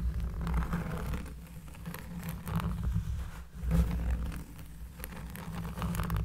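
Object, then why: Round cork trivet. Both hands scratch the porous surface of a thick, solid, round cork trivet with long, dark-polished nails. The sound is a steady, bassy rasp dominated by low rumble, with soft swells of gritty scratching and faint bright ticks on top.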